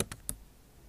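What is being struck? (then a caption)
Laptop keyboard with plastic keys. Long acrylic nail tips type on the bare plastic keys of a backlit MacBook Pro keyboard set in an aluminum body. Three quick, bright clicking taps sound in about a third of a second, each dying away almost at once. A faint low hum remains afterward.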